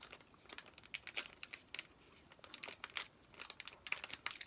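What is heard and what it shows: A flat, plastic-wrapped Paw Patrol activity pack with paper contents is held while fingertips and nails rub, tap and crinkle its plastic surface. The result is quiet, bright crinkling with many short, crisp taps and scratches and almost no low end.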